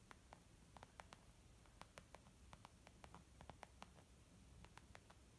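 Long nails tap a small, white, textured leather zip makeup bag lying flat, soft and hollow, in a quick, irregular run of about 21 light clicks. Each tap is short and dry, with a hollow tone around 800 Hz and a bright edge, dying away almost at once. The taps sit over a quiet, steady low rumble.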